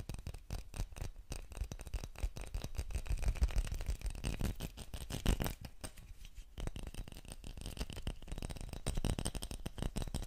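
A small clear glass bottle with a pink metallic cap is held upright in both hands while fingernails scratch and tap along its glass body. The result is a steady stream of rapid, dry clicks and scraping ticks with short, quickly fading ring, carried over a soft low rumble.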